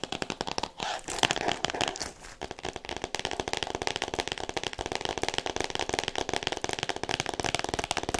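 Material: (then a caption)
Cardboard, plastic. Long nails tap and scratch quickly on the cover of a solid "All About Me" hardcover book wrapped in clear plastic. A rapid stream of sharp, dry clicks mixes with crinkly, crackling rustles of the wrap. The sound is bright and papery, with very little low end.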